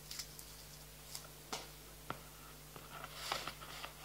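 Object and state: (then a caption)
Plastic playing card box, tapped and scratched. Fingertips scratch and tap the surface and edges of a small clear plastic box full of playing cards. Scattered sharp, bright clicks and crackly scrapes stand out over a low, steady background hum, with a few hits clearly apart.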